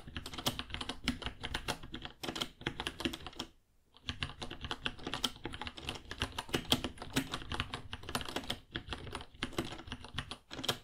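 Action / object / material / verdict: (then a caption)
tap / plastic mechanical keyboard / plastic / none. Fingertips type on a white 66-key mechanical keyboard with plastic keycaps and a hollow case, about 30 cm long, producing rapid, bright, clacky keystrokes with very short decay. The typing runs steadily, breaks into a brief silence near the 4-second mark, then resumes in a dense stream of clicks to the end.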